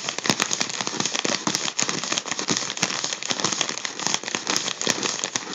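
Fingertips crinkle and pinch the crumpled section of a gold mylar foil balloon. A dense, continuous bright crinkling fills the clip, full of sharp, quick crackles and snaps with almost no low end.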